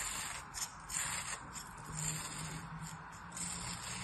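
A black-handled metal blade scores and slices lines through a solid molded kinetic sand figure resting on a palm. It makes soft, gritty scraping and crunching strokes with a bright, hissy texture over a faint low hum. The strokes swell and fade without sharp attacks.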